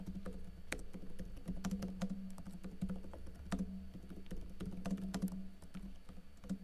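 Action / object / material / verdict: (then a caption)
tap / plastic laptop keyboard / plastic / none. Fingers with blue-painted nails type on a plastic backlit laptop keyboard with plastic keycaps, tapping the keys in a quick, uneven stream of short, dry clicks. A steady low hum sits beneath the tapping throughout.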